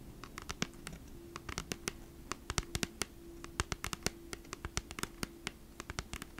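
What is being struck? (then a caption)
Flat cardboard package. Long nails tap and scratch across the front of a flat cardboard Bee's Wrap package held upright. A rapid, irregular run of short, dry clicks with crisp, bright edges rises over a faint, steady low hum.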